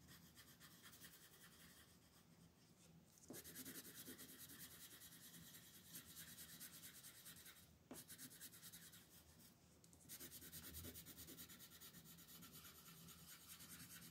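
A red/pink colored pencil shades across a flat paper coloring book page in rubbing strokes, with both hands resting on the sheet. A steady, bright, raspy scratching continues throughout, with brief breaks around 3, 8 and 10 seconds as the strokes shift.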